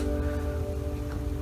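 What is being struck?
Nothing is struck.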